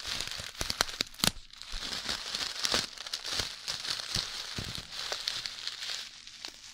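A clear plastic zip-lock bag full of tiny red beads is held in both hands, then one hand, and crinkled and shaken close to the microphone. A steady bright crinkling and rustling hiss is broken by sharp crackling snaps and clicks as the beads shift.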